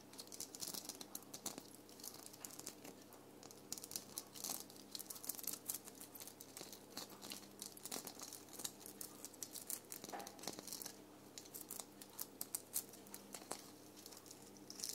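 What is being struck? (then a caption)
Small glitter-coated ball ornament. A small round red ornament with a rough glitter or sequin-coated surface, hanging on a Christmas tree, is scratched and tapped with long painted nails. Its dense, bright crackles and quick crisp ticks come nonstop, sounding like fine crinkling against a faint low hum.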